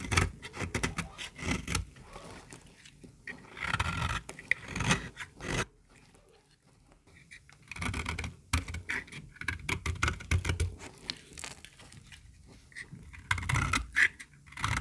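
A small, solid white bar of dry soap held in the hand is scraped and shaved with a metal utility-knife blade. Bursts of dry, crumbly scraping and rasping alternate with quieter stretches, with a near-silent pause midway before the shaving resumes.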